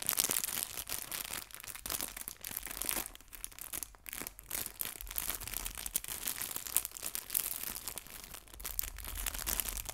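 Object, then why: Thin clear plastic bag holding fabric leaves. A small, flat, clear plastic bag holding fabric artificial leaves is stretched and crinkled with fingertips and long nails. The result is a continuous run of bright, crisp crackles and rustles, quiet overall, with many dense small pops and almost no low end.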